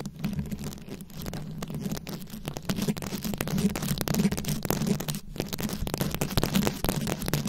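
A fist-sized round microphone head covered in plastic rhinestones and beads is scratched from both sides with very long acrylic nails. The result is a dense, continuous stream of crackling clicks and rustles over a steady low hum, growing slightly louder midway before briefly dipping and returning.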